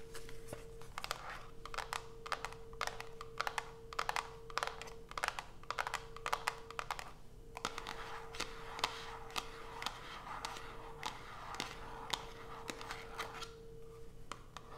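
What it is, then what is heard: Cardboard soap box. Long nails tap and scratch the top and sides of a small white printed cardboard Coast soap box with the bar still inside, resting on a dark cloth. Quick, sharp, dry clicks come in uneven bursts over a bright scratchy rustle. A steady faint tone and low hum run underneath throughout.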